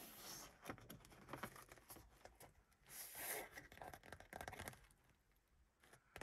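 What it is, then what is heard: Vinyl car sun visor. Long pink acrylic nails and fingertips tap and scratch the padded black vinyl sun visor, about 40 cm wide with a small vanity mirror, in a classic Mercedes 200 as it starts flipped up and is then lowered. Quick, dry, bright taps with very short decay mix with scratchy rustling across the vinyl. A louder, brighter swishing stretch comes around the middle of the clip.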